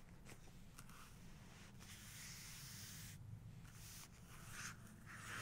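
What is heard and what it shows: Long pink nails tap and trace across the glossy paper of an open photography book, staying on the same right-hand page, which shows a bodybuilder photo. A soft, steady scratchy rubbing hiss with light taps runs throughout, quiet and close, over a low background hum.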